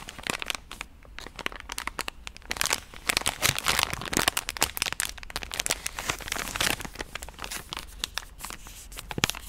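A pink soft plastic wet-wipe pouch is tapped and scratched with long nails, giving a dense, continuous run of bright crinkling and crackling. Sharp, fast clicks and scratchy bursts overlap throughout with almost no ring, over a faint low hum.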